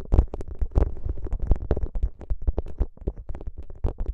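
Fingertips press, squeeze and rub a soft, flexible plastic gel bead ice pack, a clear plastic pouch filled with green gel beads, draped over the microphone. The result is a dense run of muffled, deep squishing thumps with a low rumble near 59 Hz and short crackly bursts that reach up into the highs.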